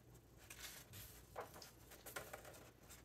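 A hand strokes the glossy paper pages of a large open hardcover book flat and turns them, making soft, papery rustles and brushing swishes with a few brighter crinkles. The sound is quiet and close, with faint low hum underneath.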